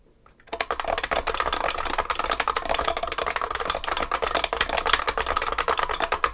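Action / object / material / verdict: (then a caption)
tap / Beam spring keyboard with plastic keycaps in a metal case / plastic, metal / none. Both hands type continuously with their fingertips on a large vintage beige IBM 3278 beam spring keyboard with plastic keycaps in a heavy metal case. After a brief quiet start, a steady rapid stream of sharp, crisp clacks follows, each keystroke short with a bright, clicky edge and a little rattle.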